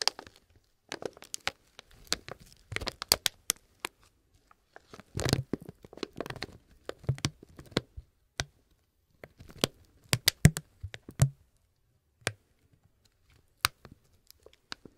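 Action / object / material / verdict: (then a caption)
scrape / plastic gum pouch / plastic / none. A small resealable plastic peppermint gum pouch, hollow and partly filled with gum, is held up above a table of other candy packs and squeezed and crinkled between gloved fingers. Sharp, bright crinkles and crackles come in irregular bursts with short pauses, each snap dying away almost at once.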